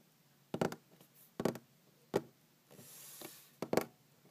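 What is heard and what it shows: Long green-painted fingernails tap on a large, solid wooden tabletop in short, dry knocks that come in quick pairs and single strikes, each with a woody tone around 395 Hz and almost no ring. A soft, bright brushing hiss rises between the last taps.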